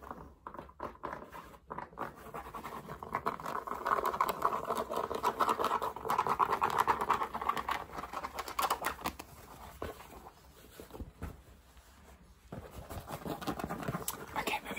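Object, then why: Cotton fabric baseball cap. Fingertips and nails rapidly tap and scratch the crown and stiff brim of a navy cotton baseball cap with a hollow crown, first while it is worn on the head and then after it is taken off and held. The result is a dense, fast, uneven stream of dry scratching and light tapping centered in the midrange, growing louder in the middle, dropping quieter briefly, then picking back up.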